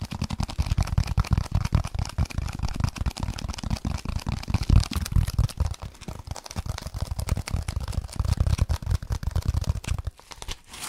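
A solid, dark speckled foam block is held close to the microphone and scratched quickly with fingers and nails. The result is a dense, continuous run of rapid, crackly scratches with a heavy, muffled low-end rumble and little brightness. The sound dips briefly near the end before resuming.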